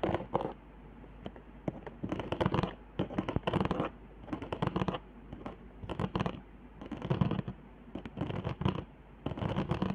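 Long nails scratch across raised hot-glue zigzags and straight lines on the upper half of a flat cardboard board. Bursts of dry, rasping scratching come in repeated bouts separated by short quiet gaps, with most energy low and a bright edge on the strokes.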